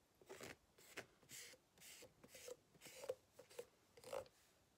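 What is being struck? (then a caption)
Ribbed rubber hot water bottle scratched with a plastic fork. A white plastic fork, held in a hand with long red nails, scratches across the ribbed surface of an empty green rubber hot water bottle lying flat on a table. The result is a quiet series of irregular, bright, raspy scraping strokes with brief rubbery squeaks near 500 Hz, separated by short silences.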